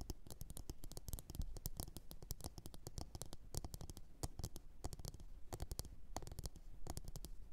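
Long orange nail tips tap rapidly on a medium, glossy blue ceramic bowl that sits hollow, empty and upside down on a fur mat. The taps come as quick, dry clicks with a bright edge over a soft, low body, dying away almost instantly in a quiet, steady patter.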